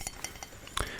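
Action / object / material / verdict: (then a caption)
tap / ceramic mug / ceramic / none. A Demon Slayer mug is tapped and clinked in a quick run of four short, bright clinks, the last one louder and fuller than the rest. Each tap rings briefly and fades quickly.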